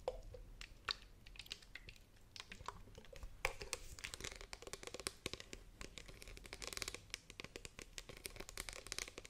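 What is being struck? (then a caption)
Plastic spray bottle. Long painted nails tap rapidly on the sides of a hollow, partly filled green plastic spray bottle with a trigger head, held sideways and then upright. The result is a quiet, steady stream of sharp, bright clicks and light scratchy, crinkling ticks with very little ring.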